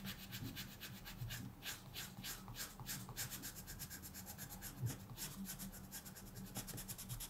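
A wooden colored pencil scratches quick strokes across a thin paper mandala page in a coloring book lying flat on a table, while the other hand rests still. A quiet, steady run of bright, dry rasping strokes repeats rapidly over a faint low hum.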